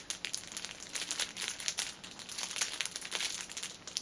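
Fingers squeeze and scratch the ends of a cellophane-wrapped six-pack of pocket tissues, sealed in clear plastic film and resting on a table. A dense run of bright, sharp crinkles and crackles fills the clip, with almost no low end. Each snap dies away almost instantly.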